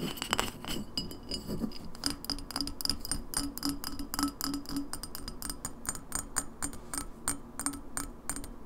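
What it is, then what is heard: Empty glass bottle. An empty glass lemonade bottle, first upright and then tilted, is tapped quickly with long nails on its glass sides, label and shoulder. The result is a fast, irregular stream of short, bright clinks with a high glassy ring around 3 kHz that dies away almost instantly, over a soft low hum.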